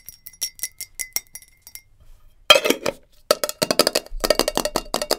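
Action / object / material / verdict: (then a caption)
tap / glass jar with lid / glass / none. Long nails tap fast on a glass jar with a lid, giving bright, clinking glass taps with short ring. Lighter, sparser taps come first, then after a brief pause a louder, denser run of quick taps and clinks follows.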